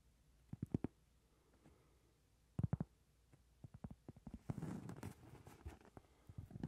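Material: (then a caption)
Cork. A round, flat, solid cork trivet about 20 cm across is tapped and scratched with long red nails and fingertips. Soft, dull, low taps come in irregular clusters with quiet pauses between them. Midway they give way to a denser, brighter scratching rustle, then sparse taps return.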